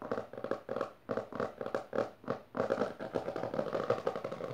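Both hands, with long dark nails, rapidly tap and scratch the textured maroon cover of a closed, solid hardcover book resting on purple fabric. The result is a fast, dry series of short clicks and scratchy brushes centered in the mid-range around 480 Hz, in uneven bursts with very little ring and almost no low end.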